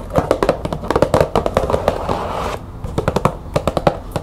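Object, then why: Small cardboard tea box. A small printed cardboard green tea box held in the hands is tapped and scratched with long nails. Quick, sharp taps with a hollow ring near 600 Hz come in rapid bursts, with a stretch of soft scratching in the middle. The taps die away almost at once.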